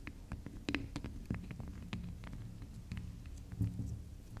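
Long acrylic nails scratch and tap the top of a small, round, solid pink spiral soap that is soft. The sound is a steady run of muffled, low, dull taps mixed with light, brief scratchy clicks that die away almost instantly.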